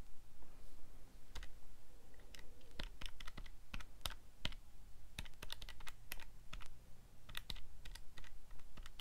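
Fingertips press the plastic buttons on a calculator keypad, producing a quick, irregular run of short, sharp, bright clicks that die away almost instantly. The clicks sit over a steady low rumble.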